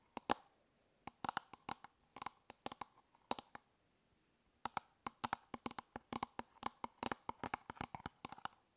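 Long fingernails tap and scratch the top of an elongated, hollow hard-plastic toothbrush travel case held in the other hand. The result is a quick run of sharp, dry clicks with a hollow body near 820 Hz and bright edges, each dying almost instantly. The clicks come in irregular bursts, with a brief quiet gap in the middle.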